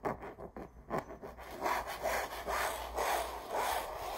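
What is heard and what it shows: Long acrylic nails scratch and rub the textured fabric surface of a red rose stretched canvas print over a hollow frame. Quick, short scratchy strokes come first, then settle into steady back-and-forth rubbing about twice a second, with a dry, papery rasp centered in the midrange and a bright hiss on top.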